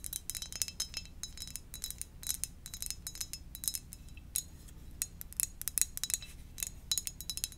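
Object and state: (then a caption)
Ceramic mug. Gentle, rapid tapping on a ceramic donut-shaped mug gives many short, bright clicks with a high ringing tone that dies away almost at once. A soft, steady low hum runs underneath the taps.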